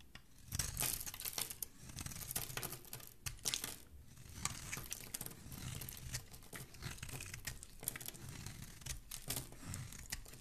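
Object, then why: Bar of soap scraped with a metal blade. A metal blade with a black handle scrapes along the edge of a white, hand-sized solid bar of soap held in one hand, shaving off curls. The cuts make dense, crisp, bright rasping and crinkling strokes in quick uneven bursts, each one dying away almost at once.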